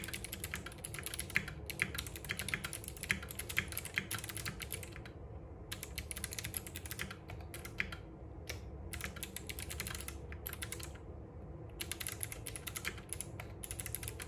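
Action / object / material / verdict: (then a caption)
tap / mechanical keyboard with plastic keycaps / plastic / none. Fingertips on both hands type continuously on a compact RGB-backlit mechanical keyboard with plastic keycaps and clicky Box Jade switches, set on a wooden desk. A rapid stream of crisp, bright clicks rides over a low, steady thock from the keys bottoming out. The typing pauses briefly around 5 and 11 seconds before resuming.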